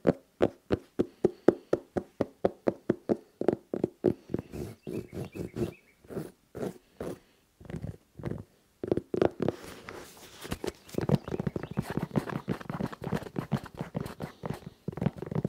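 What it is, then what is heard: Suede and rubber sneaker. Fingertips and nails tap, knock and scratch along the rubber sole edge and suede upper of an empty tan and red suede-and-rubber sneaker held at chest height. Evenly spaced, dull, short knocks come first, then uneven taps, and finally a dense, faster run of scratchy tapping with a brighter rasp.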